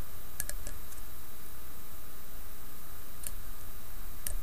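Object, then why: Small fluted metal cap. Long nails tap and click from above on a small silver-coloured fluted metal cap sitting on top of a green glass piece. Sparse, sharp, bright clicks come in a quick cluster early on, then a few isolated ones later. Each click decays almost instantly over a steady low background hum.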